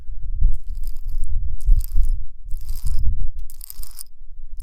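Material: Stone.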